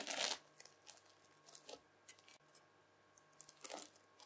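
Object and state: Bead-filled floam slime.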